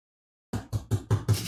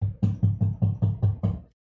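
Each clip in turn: First: Five dull, low knocks with no ring: a cardboard box packed full. Second: Eight quick low knocks with a boomy thud around 100 Hz; an empty cardboard box resonating hollowly.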